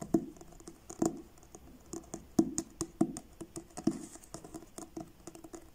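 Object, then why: Paperback book with card cover. Fingertips tap slowly and irregularly on the blue card cover of a paperback book, and the book is turned sideways at the end. The taps are soft, dull, papery pats centered in the low mids, each dying away almost instantly. A few land noticeably harder than the light patter around them.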